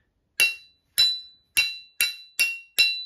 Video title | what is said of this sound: Saturdays face book free bees | yeah that sounds like good steel